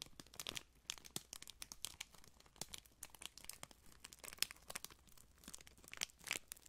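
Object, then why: Thin clear plastic wrapper. A small folded piece of printed clear plastic wrapper is crinkled and squeezed between fingertips near the microphone. It gives a steady run of sharp, bright crackles and crisp rustling, with a few louder snaps that stop almost instantly and little low end.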